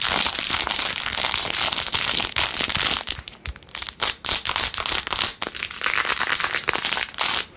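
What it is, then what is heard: Rhinestone-covered plastic phone case. Long nails scratch fast across the back and along the edge of a blue-jeweled, rhinestone-covered plastic phone case. The result is a dense, bright, crinkly scratching: a steady stream for about three seconds, then breaking into short bursts with brief quiet gaps.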